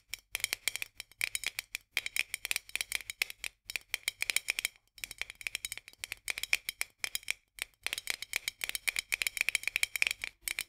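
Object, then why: Metal jar lid on a glass jar. Long nails tap quickly along the edge of a white metal lid on a full glass jar, making bright, dry clicks with a ringing tone around 2.4 kHz. The taps come in dense rapid bursts with brief pauses, and each click dies away almost instantly.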